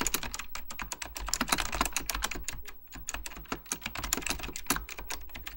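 Fingertips type continuously on a beige plastic full-size Apple Extended Keyboard II, pressing hollow plastic keycaps over mechanical switches. A fast, uneven stream of sharp, bright clacks comes through, each with a dull low thud beneath it. Every keystroke dies away almost instantly, with short pauses between bursts.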